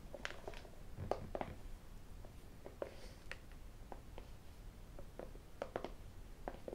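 A small, closed, hollow white cardboard iPhone box is held between flat hands and tapped with the fingertips and the rings on the fingers. The result is a quiet, irregular series of short, dry, hollow knocks with a mid-pitched tone that die away almost instantly. Some brighter clicks come from the rings, over a soft low rumble.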